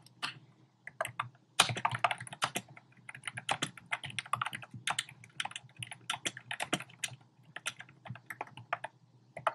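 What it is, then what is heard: Plastic keyboard with round keycaps. Fingertips with short painted nails type rapidly on a compact keyboard with a black plastic frame and round pink, orange and cream plastic keycaps, resting solidly on a desk. Short, bright, clicky key taps come in quick irregular bursts over a faint steady low hum, each tap dying away almost instantly.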